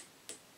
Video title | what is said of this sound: Tube Lab #51 Biasing the Willsenton R8 or any Push Pull Class AB amp | now these tubes are a little bit more microphonic